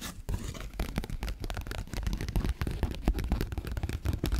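A paper 20-dollar bill is folded and waved, then crinkled and scratched with long fingernails. It makes a dense, continuous run of crisp crinkling and scratchy rustles with a heavy low-end rumble. Quick bursts crowd together throughout, with very little bright high end.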